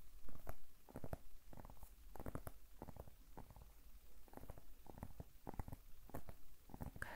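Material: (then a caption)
Vegetable skin. A large, solid whole zucchini with speckled skin is held close to the microphone while long nails tap and scratch along its surface. The result is a quick series of soft, close, dull taps and brief scratches, heavy in low-end thump with very little ringing after each one.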